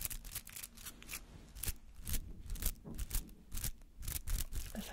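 Fingernails scratch and flick through the white-green bristly petals of a palm-sized rubber artificial flower. Short, bright, scratchy bursts repeat in an uneven rhythm over a low, soft rumble, each flick dying away almost instantly.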